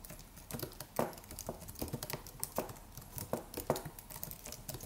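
Fingertips of both hands type rapidly on the white plastic keys of a slim white Apple-style wireless keyboard with an aluminium body. The result is a quiet, steady patter of short, dry clicks with soft low thumps and a faint mid-range tick, each dying away almost instantly.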